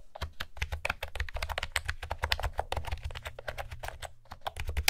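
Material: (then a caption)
Plastic. Long fingernails type rapidly on a light blue plastic retro keyboard with round pastel keycaps and a hollow housing. The result is a dense run of short, bright clicky key taps over a low, hollow thump from the housing.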